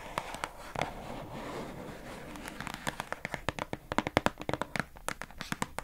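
Long acrylic nails rapidly tap the labeled side of a pink hollow plastic food container box held in both hands. A soft, steady rustle runs under the first half. Then a quick string of dry, sharp clicks picks up, each with a hollow plastic knock and almost no ring.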